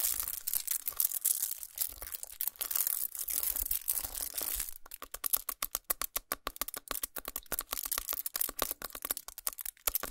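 Fingernails scratch, press and tap the crinkled aluminum foil of a foil-wrapped chocolate bar resting on a towel. The first half is a dense, bright crackling scratch; it then turns into a quick run of sharp, separate taps and clicks on the foil.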